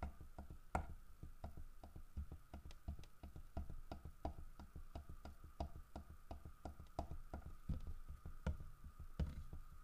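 Fingertips tap on a large, solid carved wooden bear statue, striking the fish it holds and the bear's side. The result is a steady run of dull, low knocks, each dying away almost instantly, over a faint constant tone around 1.3 kHz.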